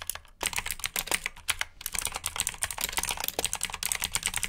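Both hands type with their fingertips on a black plastic mechanical keyboard with clicky blue switches. Fast, irregular keystrokes produce bright, sharp clicks with very short decay, and a brief pause comes just before the half-second mark.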